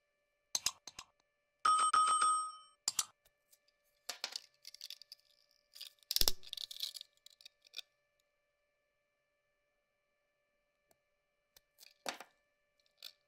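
A utility knife blade carves and scrapes into a small, round, solid green glittery soap bar embossed "clearskin," held in the hand. Crisp, bright scraping and sharp clicks come in short bursts, with one brief bell-like ringing tone near 1.2 kHz early on. Quiet pauses separate the cuts.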